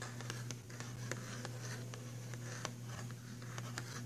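Fingernails tap and scratch the cover of a filled, printed cardboard box of pastel pencils, making soft scratchy rustling with scattered sharp, bright clicks. A steady low hum runs underneath the whole time.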